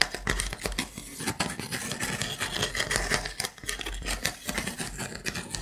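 Fingernails scratch and tap along the edges and gaps of a wooden block trivet held in the hand. The result is a quick, uneven run of dry, bright clicks and scratchy rasps that stop almost instantly, with a faint tone near 2 kHz and little low end.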